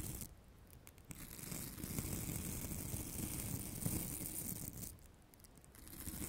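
A decorative craft carrot about 20 cm long, made of foam coated in orange glitter with green paper leaves, is held close to the microphone and scratched across its gritty surface with long manicured nails. The result is a dense, rough scratching and crinkling texture, low-heavy with a bright hiss on top. It swells louder in the middle and fades softer at both ends.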